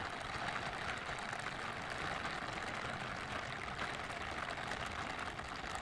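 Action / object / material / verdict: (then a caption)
scrape / silicone scrubber gloves with bristled palms / silicone / none. Pink silicone scrubber gloves with bristled palms, worn on the hands, are rubbed against each other close to a microphone. A steady, dense brushing and rustling hiss continues for the whole clip, centered in the upper midrange with a bright top and little low end. The level stays even, with no distinct separate strokes.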